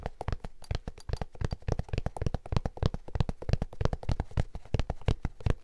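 An empty lavender Vans-style high-top sneaker with a printed canvas and suede upper and a rubber sole is held in one hand while fingertips rapidly tap and scratch the upper. The result is a quick, steady stream of soft, dull thumps, low-pitched and very short, with a faint scratchy texture.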